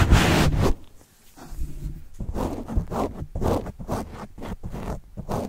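A white plastic stylus tip writes and scratches across a black foam microphone windscreen held close. A loud, bright scrape opens the clip, followed by a brief near-silence and then a quick, uneven run of short, muffled scratchy strokes with a heavy low rumble.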